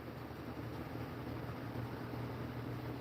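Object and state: Nothing is struck.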